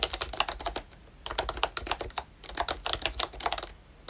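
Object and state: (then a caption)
Plastic membrane keyboard. Fingertips type continuously on a pink and brown plastic retro membrane keyboard, a Disney Mickey Mouse model by ROYCHE. Quick, soft plastic clicks come in bursts with short pauses between runs, each tap brief with a bright top and little low end.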